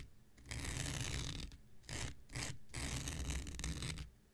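An X-Acto knife blade is scratched across a thin, hand-sized blue non-woven synthetic fiber scouring pad held in the hand. Bursts of dry, bright, rasping scratches, some long and some short, sit over a steady low hum, with brief quiet gaps between strokes.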